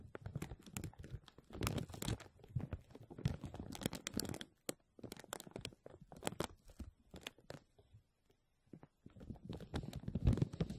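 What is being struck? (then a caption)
Thin plastic film sheet. Fingernails of both hands scratch and crinkle a thin clear plastic film stretched over the mesh dome of a microphone. The result is a dense run of sharp crackling snaps and rustles with a heavy low-end thump, broken by brief quiet gaps around five and eight seconds.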